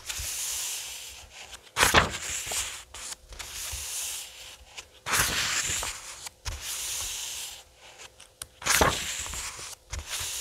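Fingertips slide across the printed paper pages of a thick paperback graphic novel lying on a wooden table, making a soft, bright, hissing rub. Three louder, sharper swishes break through as pages are turned, each followed by more quiet brushing across the paper.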